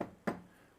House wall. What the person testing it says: No one wants to live in a house that sounds like that. They want to knock a wall and hear it's solid